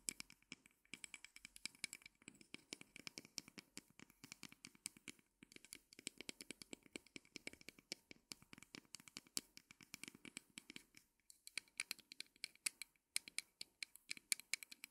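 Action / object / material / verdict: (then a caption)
scrape / small wooden easel of thin sticks / wood / none. Long nails scratch and tap along the legs of a small folded wooden mini easel made of thin, light wooden sticks, lying on fur. A rapid, steady stream of short, dry clicks and scratches sounds bright and crisp, centered around 2.3 kHz with almost no low end. Each tick dies away instantly, with brief gaps between bursts.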